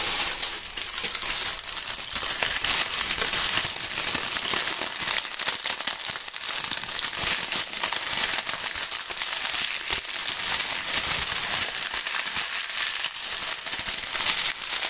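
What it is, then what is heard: Dry maple leaves crushed by hand. A handful of dry, brittle, brown maple leaves, light, thin and flat, is held between two gloved hands in front of the microphones, and both hands crush and crumple them. The result is a steady, dense crunching and crackling that is bright and high with almost no low end, running unbroken at an even level.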